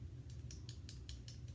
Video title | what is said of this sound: In the Kitchen with Gina - Meringues | if you tap it You can feel and hear how hollow it is